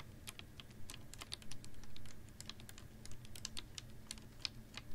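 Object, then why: Plastic water bottle. A clear, ribbed PET water bottle with a little water inside is held upright in one hand and tapped with long nails. Quick, light, clicky taps with bright, sharp tops follow each other closely, each dying away almost instantly over a steady low hum.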